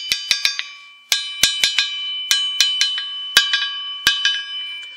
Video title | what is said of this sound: Enclumes | je vais toujours taper un peu partout sur l'enclume pour voir si j'obtiens le son de cloche partout.